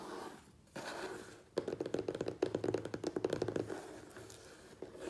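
Fingertips and nails tap and scratch the sides and top of a medium, closed, hollow corrugated cardboard Priority Mail box. Soft scratchy rustling gives way to a fast run of hollow, mid-pitched knocks with short, dry decays around 370 Hz, then fades back into quieter scraping.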